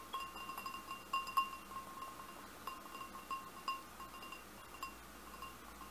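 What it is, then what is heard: Glass goblet tapped with fingernails. Fingernails tap the bowl of a large, hollow, empty red glass goblet about a dozen times in light, uneven clicks. Each tap makes the glass ring with a clear tone near 1 kHz and a fainter bright overtone above it, fading quickly between taps over a quiet background hiss.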